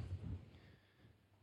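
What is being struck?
Nothing is struck.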